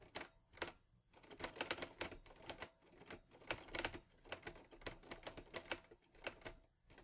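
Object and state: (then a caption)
Metal portable typewriter. Fingertips type on the keys of a teal metal portable Olivetti Lettera 22 typewriter. Quiet, uneven bursts of sharp, bright clacks are separated by short pauses, with each strike dying away almost instantly.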